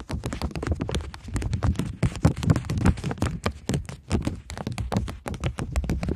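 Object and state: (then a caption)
Polymer banknote. A polymer plastic £20 banknote is held flat, then curled, while long nails tap and scratch across it. The result is a rapid, dense run of short, dry clicks and scratches with a soft, low thumpy body and almost no ring.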